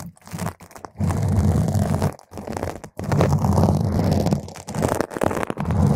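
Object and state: Foam microphone windscreen being scratched.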